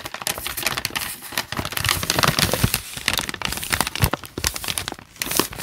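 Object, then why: Paper notebook pages. Fingertips rub, scratch and crinkle the loose, wrinkled handwritten lined pages of a thick open paper notebook. The result is a steady, dense crackle of bright paper crinkles, broken by many sharp, short snaps. The level rises and falls throughout the clip.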